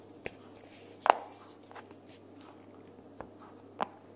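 Long nails tap and scratch the printed cover and flap of a pink cardboard sticky-notes box held upright. Sparse, dry taps with a papery midrange knock and no ring stand out from a quiet, steady background, the sharpest near the start of the second second.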